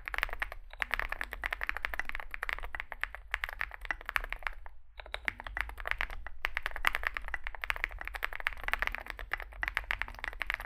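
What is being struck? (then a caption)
Mechanical keyboard with metal case and plastic keycaps. Two hands type with their fingertips on a Zoom65 65% mechanical keyboard resting on a desk mat, which has a dark metal case, white and grey SA-profile plastic keycaps and lubed switches. Rapid, dry key taps clatter continuously with a bright, crisp click, pausing briefly near the start and around the five-second mark, over a low steady hum.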